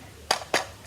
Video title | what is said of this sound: New locomotive, N&W Y6B | It sounds hollow, really not too firm